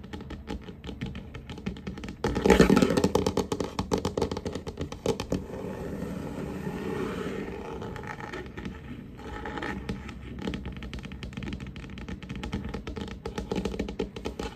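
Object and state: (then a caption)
Varnished wooden tabletop. Fingertips and short nails tap and scurry across a large, solid wooden tabletop with a glossy varnished finish. The result is a dense, irregular patter of dry, scraping taps, loudest in a burst near the start before settling into a quieter, ongoing scuttle.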